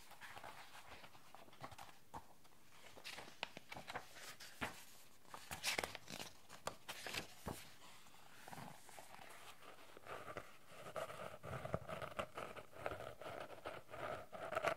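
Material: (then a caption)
Cardboard. A bound paper notebook with a cardboard cover is held open and its pages handled with soft rustles. It is then closed, and its cardboard cover is tapped with long nails and fingertips. The result is a run of quick, dry, rhythmic taps with a faint papery hiss.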